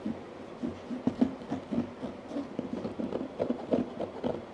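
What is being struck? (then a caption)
Molded EVA headphone case. Both hands tap quickly with fingertips and nails on the lid of a medium, hollow, black molded hard-shell EVA headphone case. The result is a steady patter of short, hollow knocks centered on a low-mid tone, with occasional sharper clicks and almost no ring.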